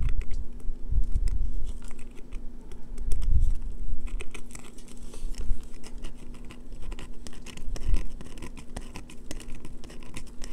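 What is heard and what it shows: A solid green bar of soap held in the hands is scratched with long fingernails, producing a dense run of fast, dry scratches and patters with bright crackly edges. A steady low hum sits beneath the scratching as it swells and fades in short bursts.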